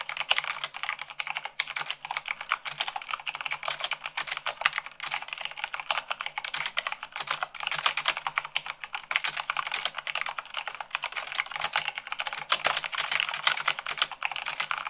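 Rapid typing with fingertips and long nails on a white plastic mechanical keyboard, at around 98 words per minute. A dense, continuous stream of short, sharp, bright clicks and clacks with very little low end runs throughout.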